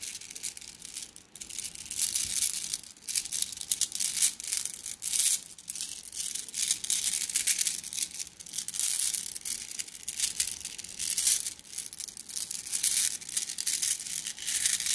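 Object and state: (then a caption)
Glass gems in a plastic mesh bag. A plastic mesh bag of flat blue glass gems is squeezed and rolled between both hands, so the gems clink and rustle against each other. The sound is a dense, bright, high-pitched jingle of many small overlapping clicks with almost no low end. It swells and eases in waves throughout.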